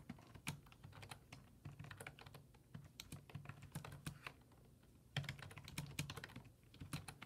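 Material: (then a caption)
Plastic. Fingertips type rapidly on a black plastic full-size desktop keyboard with low-profile keys resting on a wooden desk. The result is a steady stream of short, bright key clicks over soft low thumps, with a brief lull before the typing picks up again.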